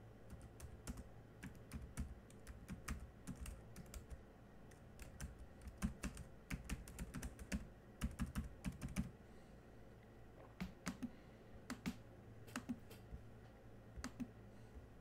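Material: Plastic.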